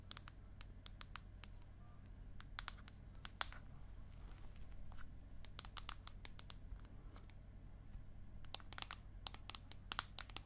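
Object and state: Aluminium tablet back.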